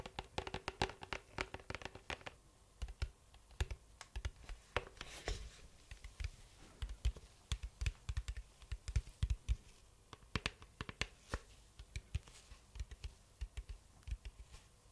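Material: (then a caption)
Cardboard. Fingertips and nails tap and scratch the side of a large, hollow, gold foil cardboard cylindrical box held close by. The result is a dense run of quick, dry taps with short scratchy rustles between them. The taps have a hollow low thump and bright clicky edges, and each dies away almost instantly.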